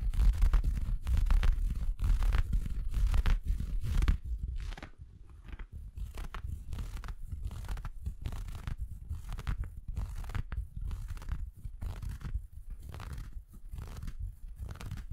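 Fingertips scratch and crinkle the fabric of an empty red felt Christmas stocking with a white fluffy cuff, close to the microphone. Rapid, uneven rustling and crunching scratches with a deep, muffled rumble run louder for the first four seconds, then continue more softly to the end.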